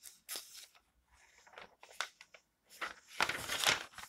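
Fingertips with long nails rub across the recipe pages of an open glossy paper magazine lying flat on a table, then turn them. Bright, dry rustles and scratchy swipes come in short, uneven bursts, with quiet gaps between. The loudest, fullest crinkle comes near the end as a page is turned over.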